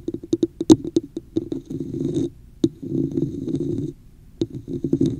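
Long nails tap the top of a hollow red plastic cup with a woven texture held over the mic, making quick, dull, hollow knocks. Between bursts of tapping, the nails scratch the cup's sides in longer, rough, rasping strokes.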